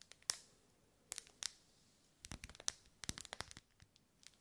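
Long nails tap and scratch the vertical ribs of a lit, solid pink wax pillar candle as it is held and moved side to side. The result is an irregular series of quiet, sharp, bright clicks and scratchy ticks that stop dead with no ring, separated by soft near-silent gaps.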